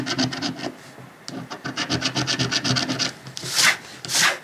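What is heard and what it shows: A coin scratches the latex coating over the number grid of a thin, flat paper lottery scratch-off ticket lying on a dark cloth. Quick, uneven bursts of bright, raspy scraping give way to two longer, louder, hissing strokes near the end.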